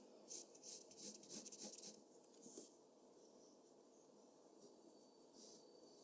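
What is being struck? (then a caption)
Pencil lead on a paper drawing sheet. A mechanical pencil tip scratches across a flat white drawing paper sheet in quick, repeated hatching strokes while shading the machine body. The result is a run of bright, high, dry scratching bursts over the first few seconds, then fainter occasional strokes over a soft hiss.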